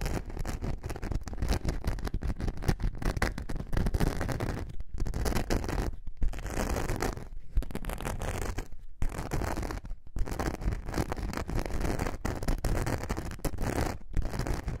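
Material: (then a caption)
Glitter foam. Long nails scratch the glitter surface of a thin, flexible glitter foam craft sheet held in a curve. The result is a dense, rough, continuous scraping with a heavy low rumble and faint bright grit, broken by a few brief pauses.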